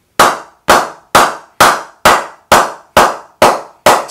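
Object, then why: Willow cricket bat struck with a wooden mallet. A full-size solid willow Symonds Super Tusker Rhino Charge cricket bat is held in one hand while its face is knocked repeatedly with a wooden bat mallet in the other. Nine sharp, evenly spaced woody knocks come at a steady pace of about two per second. Each has a bright attack and a mid-pitched tone near 1.2 kHz that dies away quickly.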